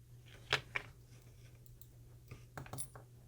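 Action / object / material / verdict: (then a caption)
tap / small camera lens locking ring / metal / metal. A metal locking ring from a replacement lens for a Runcam Eagle 2 Pro camera, handled during crash repair, gives five short, bright metallic clinks like a dropped coin over a faint low hum. The ring proves to be metal rather than plastic; the original ring was plastic and split in two.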